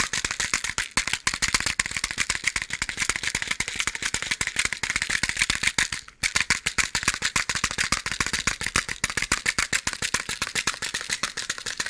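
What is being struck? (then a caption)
Box of matches. A box of matches is shaken, making a fast, steady rattle of loose matches inside the box. The dry clicks are bright with little low end, and they run continuously except for a brief pause about halfway through.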